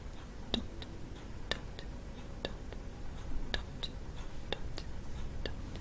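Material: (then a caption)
Wood. A long orange false nail taps the flat, dot-painted wooden top of a hand-sized coconut shell kalimba, beside its metal tines; the instrument is a hollow half coconut shell. The taps are short, sharp, bright clicks that die away almost instantly, spaced irregularly over a soft, steady low rumble.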